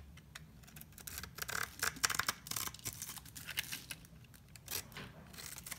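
A utility knife blade scrapes a solid white rectangular bar of soap held in the hand, carving it into thin strips whose shavings fall onto shredded paper. The sound is a quiet run of bright, dry rasping strokes with crisp crackly edges and almost no low end, swelling and fading with each pass of the blade.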